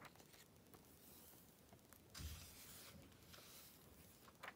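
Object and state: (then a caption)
Glossy paper magazine. Fingertips with long red nails rub across the glossy paper pages of an open Vogue magazine, the "Activism Now" issue, resting on black fabric, and flip them over. Quiet, bright papery swishes and rustles run throughout. A fuller, louder page rustle comes just past the two-second mark, and a sharp crinkle follows near the end.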